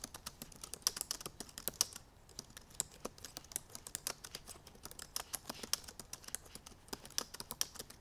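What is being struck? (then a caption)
Plastic laptop keyboard keys. Long purple nails and fingertips type quickly on the black plastic keys of a silver aluminum MacBook Pro laptop keyboard. A rapid, uneven stream of short, crisp, bright clicks and taps is heard, with almost no low-end weight. Each tap dies away almost instantly, leaving a dry, clicky texture.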